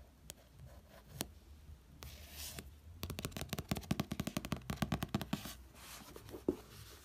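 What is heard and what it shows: A fingertip traces the author name across the glossy card cover of a red paperback novel, giving a soft, airy scratching. Then fingers tap the cover in a quick, irregular run of light, dry taps that die away almost at once. The clip ends with a little more quiet rubbing and one last tap.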